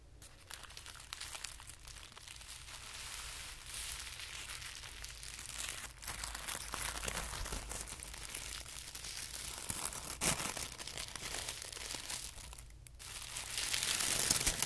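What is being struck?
Thin tissue paper sheet.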